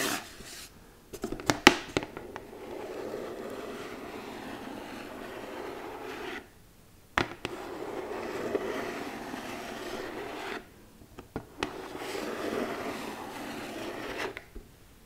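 A flat rectangular red cardboard gift box with an embossed glittery surface, held close, is rubbed and scratched with long manicured nails. Sharp taps open the clip, then three long, even passes of dry, bright scratching are each separated by a brief silence and a few clicks.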